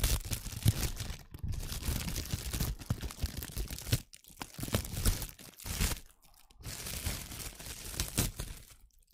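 A loose sheet of clear plastic cling film is crumpled, stretched and rubbed by fingers and long nails close to the microphone. The result is dense, continuous crinkling and crackling with bright, sharp edges over a heavy low handling rumble. Brief quiet gaps break up the crinkling.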